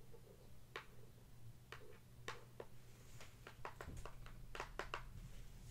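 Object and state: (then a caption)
Cardboard box. Long acrylic nail tips tap rhythmically on the top and edges of a closed, medium-small, hollow printed cardboard product box. The result is a quick series of sharp, dry, bright clicks with a hollow body and almost no ring, over a steady low hum.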